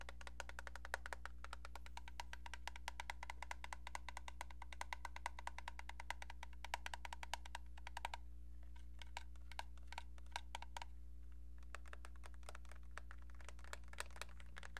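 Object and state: Plastic phone receiver.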